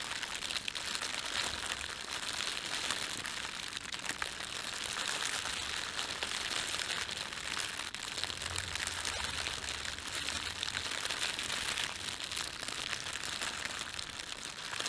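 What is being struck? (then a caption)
Thin plastic bread bag. Fingertips bunch and crumple the film of an empty, thin, red printed plastic bread bag. The result is a steady, dense crinkling that runs for about 15 seconds without a break, bright and crackly with almost no low end.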